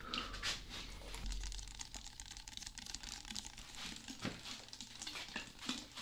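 A hollow blue plastic Prime drink bottle is held near the mic and squeezed and tapped with fingertips and nails. Dense crinkly, bright plastic crackles and light taps come in quick bursts over a low hum.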